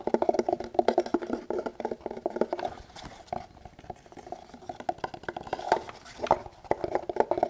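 An empty, hand-sized molded kydex pistol holster, a rigid plastic hollow shell with a multicam camo pattern and no gun inside, is held in both hands and tapped and scratched with fingertips and nails. Rapid, dry, hollow plastic taps and scratchy rasps sit in the mid range around 600 Hz and die away almost instantly. Dense bursts of tapping ease into quieter, sparser scratching, then pick up again.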